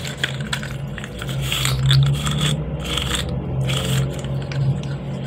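A blue and white segmented hard plastic fidget slug, hand-sized with hollow joints, is bent and twisted by bare fingers. Its segments click and rattle against each other in a steady run of small scraping clicks over a low, continuous hum.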